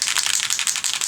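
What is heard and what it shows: A spray bottle of Sweet Cherry color mist is shaken, and the small mixing ball inside rattles in a quick run of bright, clicky hits with a high, hissy tone. The ball mixes the color and keeps the bottle from clogging, so the rattle is normal.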